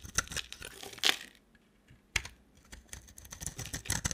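A dry, solid orange bar of soap is held in the hand and scraped and carved with a box cutter blade, so flakes fall off the bar. The result is a run of crisp, bright scraping and shaving sounds with short, sharp bursts, broken by a brief near-silent pause.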